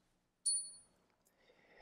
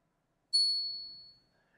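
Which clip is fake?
The first.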